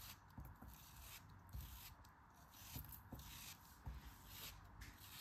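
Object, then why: Block of kinetic sand. A solid pink kinetic sand block, held in the hand, is cut and scraped apart with a craft knife. Quiet, gritty crunching and scraping runs throughout, broken by five soft, low, dull thumps as pieces give way.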